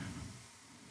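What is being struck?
Nothing is struck.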